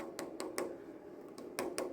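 A jar of Cantu protective styles braiding and twist gel with marula oil and aloe vera is tapped seven times in two uneven bursts. Each tap gives a short, hollow knock with a bright click on top, centered around 340 Hz, that dies away quickly.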